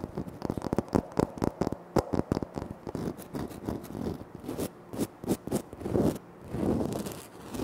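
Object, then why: Granite floor tile. Short nails scratch and fingertips tap on a flat, solid, speckled granite floor tile. Quick, dry, crisp taps come in rapid bursts early on, then give way to longer rasping scratch strokes. The sound is mostly low and mid in tone, with almost no ring after each hit.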